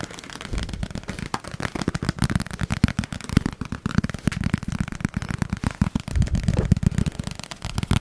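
A small, hollow, apparently empty rectangular yellow plastic food container with a lid is held in both hands close to the mic and rapidly tapped and scratched with fingertips and nails. The result is a dense, continuous stream of quick, dull, low-pitched taps mixed with crackly scratching that stops short with no ring.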